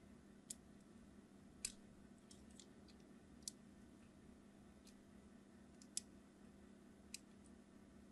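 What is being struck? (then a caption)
Hard soap bar. A craft knife scratches crosshatch lines into the surface of a solid red translucent hard soap bar held in the hand, with repeated strokes. Short, sharp, bright scratchy clicks come at irregular intervals over a quiet, steady low hum.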